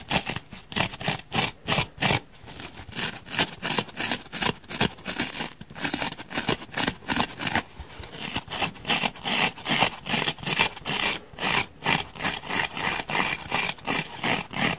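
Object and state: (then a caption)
Foam block scratched with fingernails. A solid grey foam block is briefly bent in the hand, then fingernails scratch and gouge its surface. Dozens of quick, dry scraping and crackling bursts follow at an uneven pace, bright and hissy with little low end, each cutting off almost immediately.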